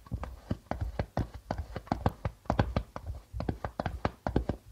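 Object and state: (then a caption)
Darbuka drum with plastic head. Rapid fingertip tapping with both hands on a hollow darbuka drum with a white plastic membrane. The short, dry taps come in quick clusters with a low, hollow thump and almost no ring after each hit.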